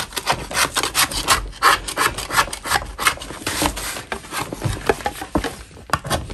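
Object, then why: Natural chalk block scraped with a metal spatula. A metal spatula scrapes a solid lump of natural chalk, its blade edge shaving the soft surface. Rapid, uneven strokes make dry, gritty rasping with a bright hiss and a scratchy midrange, each stroke fading almost at once.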